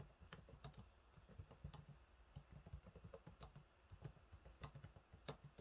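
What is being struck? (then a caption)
Laptop keyboard with plastic keys. Fingertips type on the low-profile plastic keys of a silver laptop keyboard, making about nineteen quiet, separate taps. Each keystroke is a soft, low-weighted thud with a brief bright click on top that dies away almost at once, leaving an irregular tapping rhythm.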